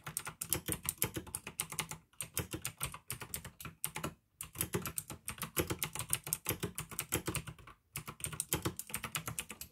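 Fingertips type on a pink AUKEY plastic mechanical gaming keyboard with blue switches. Rapid, bright, clicky keystrokes with a low thock come in steady bursts, broken by short pauses around 2, 4 and 8 seconds.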